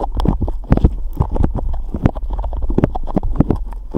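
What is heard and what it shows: A hand-sized blob of soft, glossy pink slime is pressed, stretched and kneaded between the fingertips of both hands. This makes a rapid, steady run of wet squelching pops with a deep, low-heavy body. The pops are short and crowd closely together throughout.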